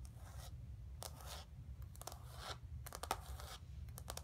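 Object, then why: Painted canvas board. Long nails scratch across the textured paint of a flat painted canvas board resting on carpet. Quiet bursts of dry, bright scratching come in short strokes and longer sweeps, with a few sharper clicks, over a steady low rumble.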